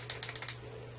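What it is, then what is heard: Nearly empty liquid eyeliner pen. A nearly empty liquid eyeliner pen is shaken to get it working, giving a quick run of sharp, bright, high-pitched clicks that stop after about half a second. A low steady hum sits underneath throughout.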